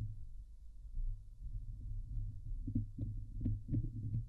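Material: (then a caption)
Metal mesh. Long glittery nails on both hands scratch the hollow, domed wire-mesh grille of a Blue Yeti microphone. The sound is a deep, muffled rumbling scrape with soft thumps, almost entirely low in pitch. It grows into sharper scratching bursts in the second half.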